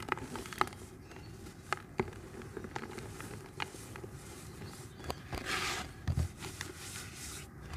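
Bare fingers squeeze, rub and crumble soft, dusty white-gray dry cement chunks about hand size, solid yet crumbly, over a red plastic bucket. Quiet gritty crackling is broken by sharp, dry little snaps that die away instantly, with a brighter sandy hiss as the powder pours down into the bucket.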